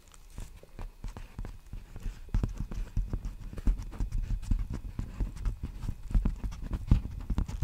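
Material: Plastic.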